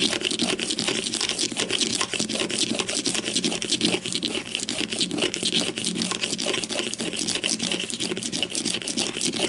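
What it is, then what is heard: Plastic deodorant stick. Long nails rapidly tap and scratch the top of a grey-green plastic deodorant stick with a hollow casing, lying on its side on a white table with one hand resting at the far end. A dense, steady stream of crisp, bright plastic clicks and scratchy rasps, with a light hollow body underneath, runs throughout without pause.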